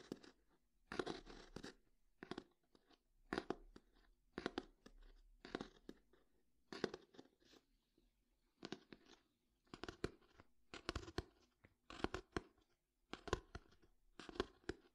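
Fingertips tap and scratch the cover and page edges of a closed hardcover paper book. Short, dry, crunchy taps come in quick clusters with brief scratchy rustles between them, separated by quiet pauses. Each sound dies away almost instantly.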